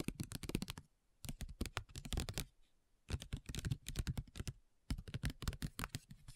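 Long nails tap a flat, printed plastic-foil facial sheet mask pouch in rapid rolls. Quick, dry, crisp clicks with a soft low thump come in four bursts separated by short pauses, and each tap dies away almost instantly.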